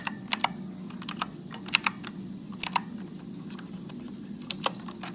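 Fingertips press the keys of a backlit Motospeed mechanical keyboard with blue switches and plastic keycaps in slow typing, making 12 sharp, bright clicks that come in uneven pairs. Each click is very short and dry over a steady low hum.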